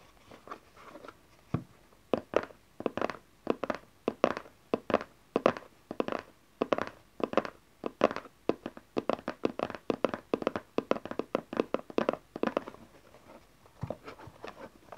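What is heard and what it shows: Fingernails tap along the back and edges of a small dark cardboard tarot card deck box held in the hand, making quick, dry, hollow clicks and taps. The taps come in rapid clusters with short pauses between them, each one dying away almost at once.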